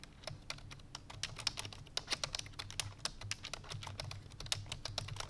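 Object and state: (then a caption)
Plastic computer keyboard. Fingertips with long painted nails rapidly press the keys of a full-size black plastic computer keyboard resting on a white fur rug. Fast, bright, clicky typing taps follow one another in a quick, uneven stream, each dying away almost instantly. A faint low hum sits underneath.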